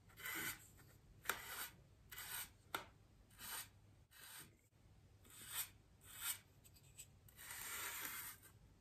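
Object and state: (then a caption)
Styrofoam ring brushed with a paintbrush. The bristles of a small paintbrush are brushed across a large, white, solid styrofoam wreath ring resting on a table. Each stroke makes a soft, dry, bright scratching swish. The strokes come in a quiet series of short bursts with brief pauses between them.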